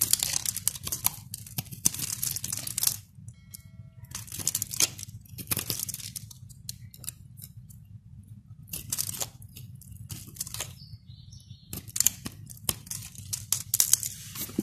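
A utility knife blade cuts and scrapes a solid, palm-sized white bar of soap held in the hand, following scored lines as soap flakes fall away. Bright, crisp crackling and scraping bursts come in several dense clusters separated by quieter pauses, over a faint steady low hum.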